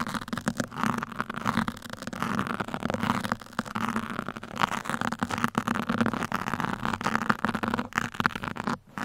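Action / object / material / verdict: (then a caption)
scrape / foam microphone windscreen / foam / none. Pin tips are poked into and scratched across a black foam microphone windscreen, close to the mic. The result is a steady, dense stream of crackly, rustling scratches centered in the midrange, with sharp little clicks throughout and a faint low hum underneath.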